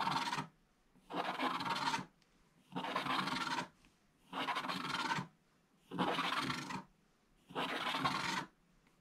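A wooden stylus scratches long strips of black coating off a flat scratch-art book page, exposing the gold foil underneath and leaving flakes on the page. Six dry, bright rasping strokes come at a steady pace, each lasting about a second, with short quiet pauses between them.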